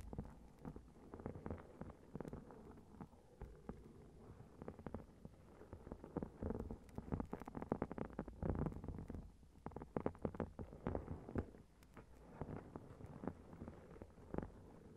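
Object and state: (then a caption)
Foil-covered notebook. Long red-painted nails tap and scratch a notebook with a shiny gold metallic foil cover that is lying flat on a recorder. The result is a dense, uneven stream of soft, short clicks and rustling scrapes, mostly low and muffled, with quieter and busier stretches throughout.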